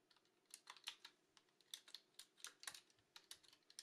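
Fingertips with long nails type on a retro mechanical keyboard with round plastic keycaps. About twenty clicky, bright key presses come in quick uneven bursts, each snapping off almost at once with almost no low end.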